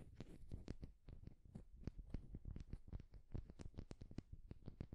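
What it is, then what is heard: Wooden egg tapped and scratched. A solid, palm-sized turned wooden egg is held in both hands while fingertips and nails tap and scratch its smooth surface. The result is a quiet, fast run of dull, low taps mixed with brief scratchy ticks, each dying away at once with no ring.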